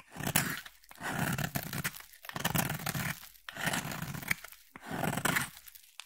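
A solid, palm-sized blue bar of soap is held in the hand and shaved with a utility blade, peeling off thin curls. Five repeated scraping, crunchy strokes are heard, separated by brief pauses, each with a gritty, tearing texture that spans from low body to bright hiss.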